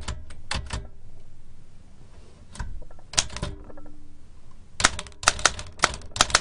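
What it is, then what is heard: Antique metal typewriter. A large black antique L.C. Smith & Corona metal typewriter with round keys, a hollow mechanical body and paper loaded is typed on by fingertips tapping the keys continuously. Sharp, bright mechanical clacks come in uneven bursts with brief pauses, each strike ringing metallically over a low rumble from the body. Some keystrokes are followed by short tonal rings of the mechanism.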